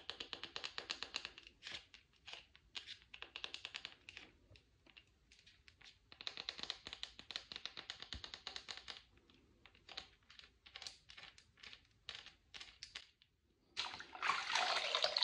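Long red acrylic nails tap and scratch the flat face and edge of a small, solid, dry oval bar of white cream soap with an embossed logo, held in one hand. The sound is rapid, bright, dry clicking taps in uneven bursts separated by short pauses. It ends in a denser, continuous scratchy hiss.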